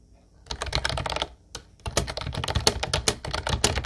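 Fast fingertip typing on a light blue plastic Ubotie retro keyboard with round white keycaps produces rapid, bright, clacky key clicks with a soft low thump under each press. The keystrokes come in a quick burst, pause briefly, then resume in a steady run of short, dry clicks.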